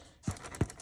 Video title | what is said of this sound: Let’s Cook Pot Roast and No Knead Bread | when you hear that sound you know that you've got a nice soft bread on the inside and it's done